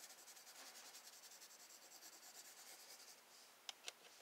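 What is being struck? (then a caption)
Graphite pencil on drawing paper. A wooden graphite pencil draws wave strokes across a spiral sketchbook page of drawing paper resting on a desk, scratching and rubbing in quick rhythmic passes. The quiet, bright scratching runs for about three and a half seconds, then eases off. Two sharp, short ticks follow near the end.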